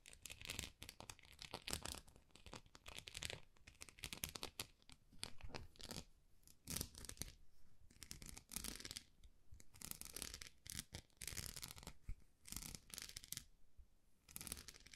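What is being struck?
Textured plastic rice paddle.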